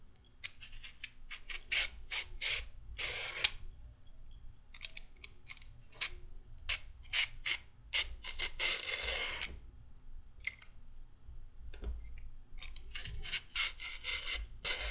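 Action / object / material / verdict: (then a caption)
scrape / raw carrot scraped with a peeler / carrot / none. A solid raw carrot is peeled with a pink-handled peeler over a pile of peel on the table. Repeated scraping strokes give bright, raspy bursts separated by short quiet gaps, over a faint low hum.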